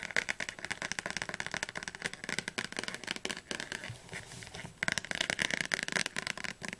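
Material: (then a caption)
Paper. Long nails tap quickly on the spine and cover of a thick blue Oxford paperback dictionary, producing a dense run of short, dry, bright clicks with almost no low end. The tapping softens briefly past the midpoint, then resumes at full pace.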